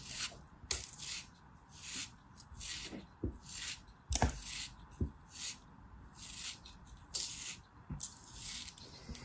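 A black craft knife carves and scrapes a small, solid, molded beige kinetic sand piece. Repeated gritty scraping strokes come through as bright, hissy bursts, with occasional soft low thumps and sharp clicks as the blade cuts into and through the packed sand.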